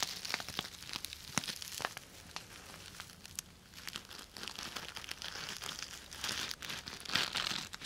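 A purple sequin-covered fabric cosmetic bag is held in one hand while long nails scratch and rub the plastic sequins back and forth. The result is bright, crinkly scratching dotted with sharp ticks and clicks, with almost no low end. It dips into a softer lull near the middle, then builds into denser, louder rubbing toward the end.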